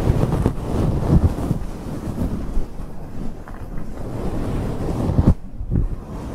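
Long acrylic nails on both hands scratch continuously over a large, fluffy grey faux fur microphone windscreen. The result is a dense, muffled, low rumbling rustle, mostly bass with almost nothing bright, broken by a few brief louder thumps.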